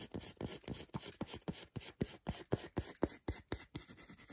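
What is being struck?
Milk chocolate bar.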